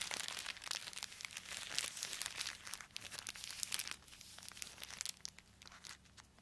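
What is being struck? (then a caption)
Plastic poly mailer bag. Gloved fingers crinkle a small black plastic poly mailer bag and tear it open along its edge. Dense, bright crinkling and crackling with sharp tearing bursts fill the first four seconds, then the rustling thins out and grows quieter toward the end.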